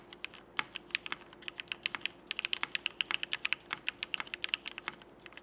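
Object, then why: Mechanical keyboard with plastic keycaps. Fingertips of both hands type steady, fast presses on a Frog mechanical keyboard with cream CRP Peacock plastic keycaps, retooled Cherry Black switches and an aluminum plate. Around three dozen short, bright clacks land in quick succession with no ring, over a faint steady low hum.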